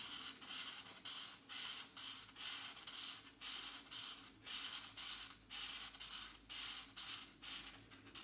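A felt-tip marker held in the fingers rubs in repeated strokes across a thin paper page of a geometric coloring book, filling in green shapes. About 15 quiet, bright, hissy scratching strokes follow one another at a loose rhythm of roughly two per second, with almost no low end.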